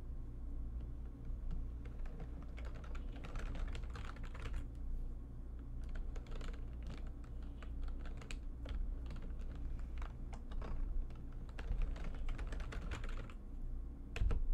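Fingertips with long painted nails type fast on the keys of a full-size, low-profile, backlit plastic computer keyboard resting on a desk. A dense stream of quick, bright clicks and clatters runs throughout over a steady low hum, with a few louder taps near the end.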